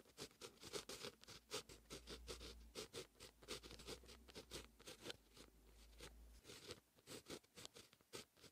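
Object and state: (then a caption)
Pen writing on a paper notebook page. A fine-tip pen with a grey grip writes Korean handwriting across a lined white paper notebook page lying flat. The pen tip scratches steadily across the paper in continuous strokes, producing a quick, bright patter of short scratchy strokes. A low steady hum sits underneath for most of the clip, then stops.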